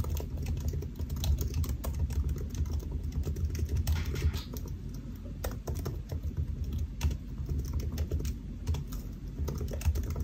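Fingertips of both hands type on the solid black plastic keys of a silver aluminium laptop resting on a white desk. A steady, dense run of short, soft key taps fills the clip, each dying away almost instantly over a low, muffled thump-heavy body with little high-end click.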